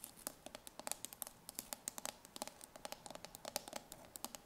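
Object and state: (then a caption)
Steel food can tapped with nails. Long nails tap and scratch the ridged metal bottom of a full steel tin can held in the hand. About thirty quick, dry clicks follow one another with a bright metallic tick and no ring, over a faint scratchy hiss.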